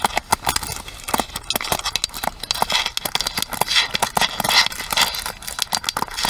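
A pink plastic paddle hairbrush is held edge-on while long nails tap and scratch along its plastic rim and pins. A rapid run of short, dry clicks mixes with bright scratchy rasps, each dying away almost instantly. The sound is mostly high-pitched with almost no low end.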